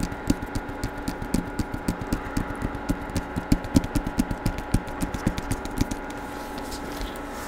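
Fingertips and nails tap and scratch the paper-covered cardboard cover of a hardcover Star Wars book held upright in front of the microphone. About 27 short, dull, low taps sound in a quick, uneven rhythm over a faint steady hum, with bright scratchy ticks riding on each hit. The tapping thins out in the last second, leaving only the hum.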